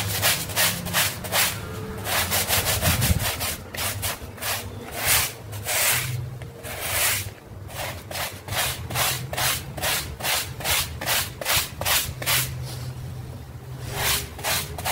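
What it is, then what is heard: Wet rug being scrubbed. A hand scrubs a small, flat, dirty, wet pink rug lying on a terrazzo tile floor, working a stiff bristle hand brush back and forth. It makes a steady, fairly fast run of bright, hissing scrub strokes, about two or three per second, with uneven spacing and a soft low rumble beneath.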